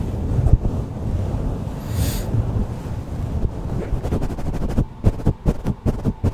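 A black, soft porous foam windscreen on a blue microphone is rubbed and squeezed by the fingertips and palm of one hand. A deep, muffled rumbling rustle fills the first part, then breaks into about eight soft, quick thumps toward the end.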